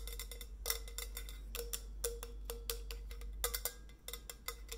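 Long nails tap the body and steel cap of a white, coffee-bean-patterned stainless steel insulated bottle as it is rotated in the hands. The result is a quick, uneven run of bright, clicky ticks, each with a short, faint ring around 500 Hz, over a steady low hum.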